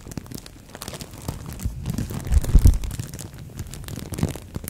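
A thin green-and-white printed plastic bag wrapped around a microphone head is crinkled and scratched with long nails and fingertips. The result is a close, dense stream of crackling and rustling, mostly low and boomy, that swells into a louder crunchy burst midway before settling back.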